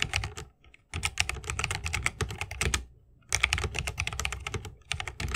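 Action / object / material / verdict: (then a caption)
tap / mechanical keyboard with plastic keycaps in a wooden case / plastic, wood / none. Fingertips of both hands type fast on a 60% mechanical keyboard with plastic keycaps on tactile Holy Panda switches, set in a solid bamboo wooden case with RGB lighting and resting on a wrist rest. Rapid, bright clacking keystrokes with a low thocky body come in dense bursts, broken by two short pauses. Each click dies away almost instantly.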